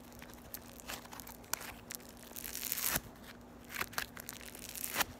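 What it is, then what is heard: Floam (foam beads in slime) being crunched. A small, solid lump of yellow floam (foam beads in slime) is squeezed and crushed between the fingertips and long nails of both hands. It gives off bright, crunchy crackles and pops in irregular bursts, with a few sharper snaps over a faint, steady low hum.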